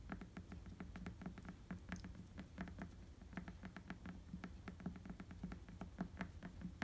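Fingertips scratch and tap across the tread of an inflated tan rubber bicycle tire, giving a quick patter of short, dry, muffled taps over a low rumble. Each stroke dies away almost at once, with a soft thud near 180 Hz and faint brighter clicks above.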